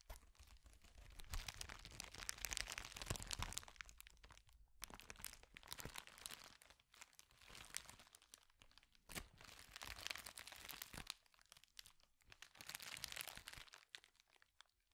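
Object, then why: Plastic bubble wrap sheet. A clear plastic bubble wrap sheet held in both hands is scrunched, twisted and rubbed with the fingers. Dense, bright crinkling comes in irregular waves, with sharp crackles and pops, a low rumble under the louder bursts, and short quieter pauses between handlings.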